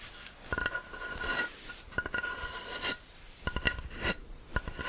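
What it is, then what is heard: Beech wood board. A thick solid beech plank is held flat in one hand while the fingertips and nails of the other hand tap and scratch its top surface and edge. Sharp, dry taps with a short ring alternate with raspy, bright scratching strokes. The sound is quiet and close.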